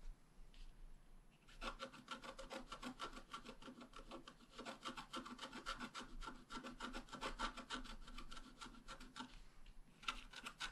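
A wooden stylus scratches around a bicycle wheel drawn on a wax-coated scratch art paper sheet, a thin black coated card lying flat on a table. Quick, uneven, raspy strokes come at a steady working pace with a dry, bright edge and a faint pitched tone in the midrange. Each stroke stops dead with no ring.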